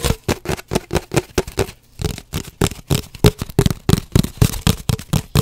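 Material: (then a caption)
Cardboard. Fingernails rapidly tap and scratch on an empty, hollow cardboard paper towel roll held horizontally. The result is a fast, uneven run of dull, low, hollow knocks with dry scratchy edges and a brief pause near the two-second mark.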